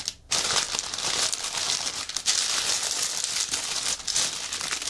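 A clear plastic bag with white fabric inside, a prop lying flat on a table, is scratched, pinched and pressed with fingertips and nails. After a brief quiet start, a dense, bright crinkling runs almost continuously, with short dips in loudness along the way.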